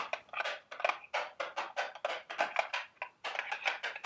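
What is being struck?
Small cardboard candy box.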